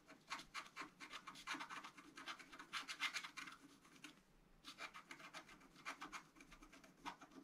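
A wooden stylus scratches fine lines into the right side of a flat scratch-art card coated in black. It makes quick, dry, bright scratching strokes in a steady run, pauses briefly just after the midpoint, then starts again.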